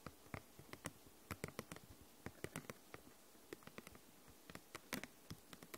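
A thin, translucent purple plastic envelope folder with a snap button, hollow and apparently empty, is tapped and scratched with long nails. About 25 quick, light taps come in an irregular patter, each a dry, crisp click with a bright edge that dies away almost at once. Soft scratchy rustles fill the gaps over a quiet, steady background hiss.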